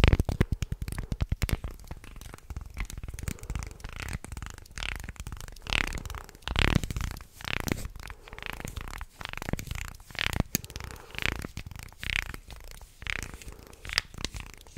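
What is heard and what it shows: A wooden stick scrapes along the ridges of a small carved light-wood shark guiro held close to the mic. A burst of rapid clicking ratchets at the start gives way to a series of rasping, grinding strokes with a heavy low rumble and bright scratchy edges. Toward the end the hands shift position and partly cover the guiro.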